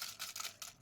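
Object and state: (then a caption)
Crisp fried curry leaves. Curry leaves fried until crisp are handled, giving three quick, dry, bright crackling rustles with almost no low end. The crisp sound shows the leaves are properly fried.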